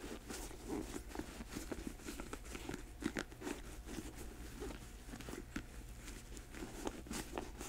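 Long nails tap the sole of a black patent leather boot held sole up, then scratch its glossy upper once it stands upright. Short, dry clicks and crunchy scrapes are heard over a steady low hum, each tap fading almost instantly.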